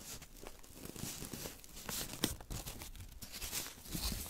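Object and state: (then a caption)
Thin paper being torn and crumpled. A small strip of thin white paper, held in fingertips with long nails, is torn and crumpled up close. Soft, bright crinkles and papery rustles run throughout, with one sharper tearing snap near the middle.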